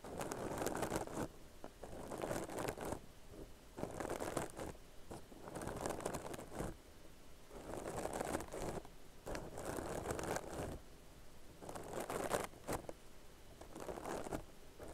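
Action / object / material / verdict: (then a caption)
scrape / crocheted yarn bag / yarn / none. Long nails scratch the textured stitches of a soft, hollow tan crocheted yarn purse held in both hands. Bursts of dry, scratchy rustling come about every two seconds, with quieter gaps between them. The scratching is mostly midrange with some bright hiss.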